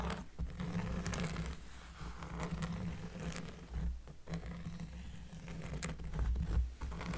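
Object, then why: Cork surface. Close-up scratching on a cork surface produces a steady, bassy, low-rumbling scrape with dense, soft scratchy texture. Brief quieter gaps break the scratching, which stays low and muffled throughout.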